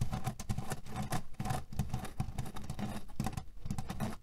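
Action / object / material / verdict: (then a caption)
scrape / cotton cushion filled with cherry pits / cherry pits / none. Short fingernails and fingertips quickly scratch and tap a small square cotton cushion with a red cherry print, filled with cherry pits and resting on a table. The result is a dense, rapid patter of soft, dull taps and gritty scratches, mostly low and muffled, with each stroke dying away almost at once.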